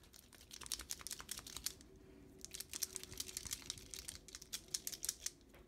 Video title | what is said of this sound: Elmers Painters Pens: How to Open Them & Get the Ink Flow Started | keep shaking the pen until it starts making that clicking noise that's what you want to be hearing because that means there's a little like ball or piece of plastic that goes through there and mixes up the paint